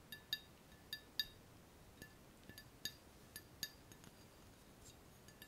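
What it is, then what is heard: Glass round-bottom flask. Fingernails tap the frosted ground-glass necks and bulb of a hollow, empty, clear glass two-neck round-bottom flask held in the hand. About eleven quiet, irregular, bright glassy clinks ring around 3.8 kHz, each dying away almost at once over a faint hiss.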